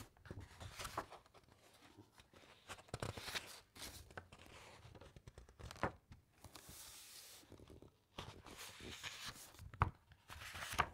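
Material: Paper.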